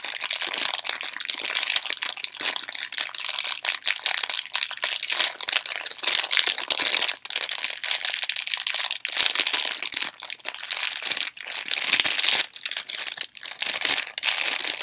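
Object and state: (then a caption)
Plastic candy wrapper crinkled. A torn, empty Halls plastic film candy bag is held in one hand and crinkled and squeezed with fingers and long nails. The result is a dense, continuous, bright crackling crinkle with sharp crunchy snaps and almost no low end.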